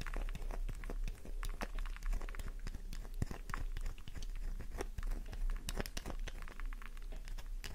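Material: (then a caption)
Soap. A solid pink flower-shaped soap bar is scratched with long nails, and powdery flakes fall away. Dense, rapid scratching and crinkly crunching clicks run throughout, with short bright transients over a low, steady rumble.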